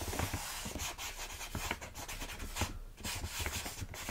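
A single fingernail slowly scratches and rubs across the front of a full plastic bag of rolled oats. The result is a dry, crinkly rasping that sweeps from low muffled rustle up into bright, hissy scratch strokes.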